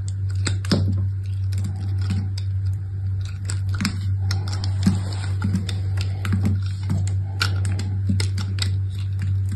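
A utility knife with a metal blade and orange handle scrapes and cuts thin curls off a small, solid, partly carved lilac and white striped bar of soap held in one hand with long red nails. Irregular, scratchy scraping strokes and crisp cuts sound over a steady low hum.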